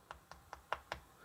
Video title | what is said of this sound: Reese's Peanut Butter Cup Cookie Pan Kit In The Miniature Kitchen | should get to where you can tap it and it sounds nice and crunchy